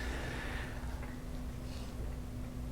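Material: Nothing is struck.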